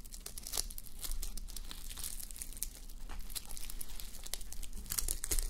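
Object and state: Sequin fabric being scratched.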